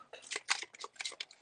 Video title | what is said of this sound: Awkward & amusing childhood crushes 😍 Gab ‘n’ Doodle with guest Jennifer A. Bell | There's so much liquid in there. You can hear it sloshing back and forth.